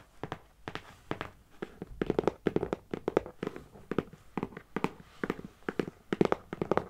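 A medium, closed, hollow brown corrugated cardboard box lying on a carpet is tapped with the long painted nails and fingertips of both hands. About 33 quick, dry taps come in uneven bursts, each a short hollow knock around 360 Hz with a faint bright click from the nails, dying away almost instantly.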